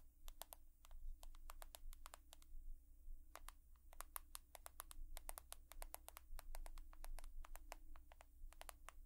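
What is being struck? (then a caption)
Smartphone with glass and metal body. Long nails tap rapidly and irregularly on an iPhone's glass and metal body, producing many short, bright clicks with almost no ring. A steady low hum runs underneath throughout.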